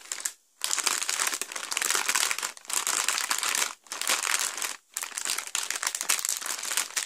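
A small sealed clear plastic Lego bag numbered 3, full of plastic bricks, is pressed and rubbed on a carpet with both flat hands, fingertips and palms. It gives a bright, continuous crinkling in four bursts separated by brief silences.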